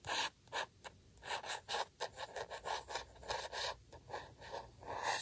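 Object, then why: Paper badge on a paper sheet. A fingertip rubs and taps across a flat, thin printed paper circle, a Camp Tingle badge, lying on a sheet of white paper on a table. About a dozen short, dry, raspy strokes come in quick bursts, with a papery midrange and a bright hiss on top and almost no low end. Each stroke stops dead with no ring.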